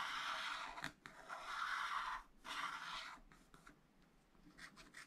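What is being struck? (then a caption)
Wax-coated scratch art paper scratched with a wooden stylus. A wooden stylus scratches back and forth across a black wax-coated scratch art sheet in a flat spiral pad, hatching a green tower area. Long, dry, papery scraping strokes centered in the midrange with bright hiss come in quick bursts separated by brief pauses. They then fade into softer, shorter scratches toward the end.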